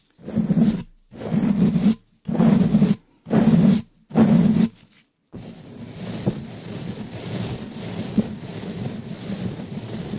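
A round wooden-handled brush with pale natural bristles, held in a black-gloved hand, brushes and scratches the hollow black metal mesh grille of a large condenser microphone. Five separate rough, low strokes with short pauses between them are followed by a steady, continuous scratching that runs to the end.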